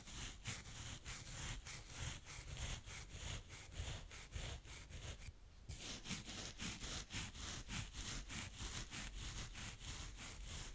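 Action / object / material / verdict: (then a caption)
scrape / kinetic sand scraped with a plastic spade / sand / none. A blue plastic spade rakes slow strokes through a mound of brown kinetic sand, leaving ridges. Steady, rhythmic gritty scrapes of about a hundred strokes per minute combine a low rumble with bright, hissy grain. A brief, thinner stretch falls about midway through.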